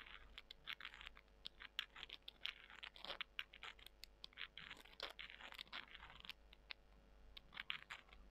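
Long nails scratch and crunch small, dry, porous soy chunks. The result is a quiet, dense run of sharp, bright crackles and scrapes with almost no low end, each snap dying out instantly.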